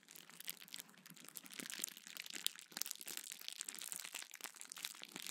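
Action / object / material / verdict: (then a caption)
scrape / plastic bubble wrap sheet / plastic / none. A small sheet of clear plastic bubble wrap is held in both hands, squeezed and crinkled while bubbles are popped with fingertips. The result is a quiet, bright, dense crinkling with scattered sharp little pops and snaps that die away instantly, with almost no low end.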